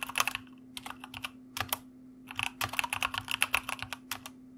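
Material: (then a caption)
Plastic. Fingertips of both hands type on a white mechanical computer keyboard with plastic keycaps. Sharp, bright clicks come in quick bursts separated by short pauses. A faint steady low hum runs underneath throughout.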